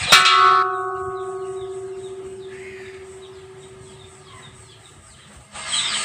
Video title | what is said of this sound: ഓട്ടുരുളി എങ്ങനെ മയക്കി എടുക്കാം #otturuli | ഇതില മുട്ടിയാൽ സൗണ്ട് ... ഒരുപാട് സമയം ഇങ്ങനെ നിൽക്കുന്നത്